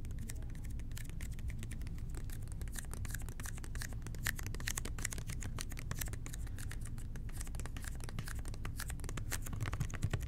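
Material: Plastic.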